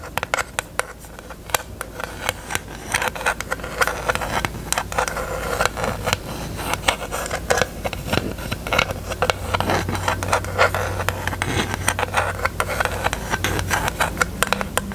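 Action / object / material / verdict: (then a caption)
tap / small hollow plastic case / plastic / none. Long acrylic nails tap and scratch on a small hollow pink plastic eyelash storage case, held open with a mirror in its lid. Rapid, crisp plastic clicks and light scratchy scrapes run throughout, each tap dying out almost instantly over a faint steady low hum.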